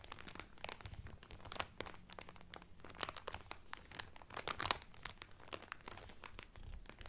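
Fingertips and nails crinkle clear cellophane wrapped over a folded cotton Carnival Cruise towel. A quiet, steady stream of crisp, bright crackles and crinkles fills the clip, with a few sharper snaps standing out among them.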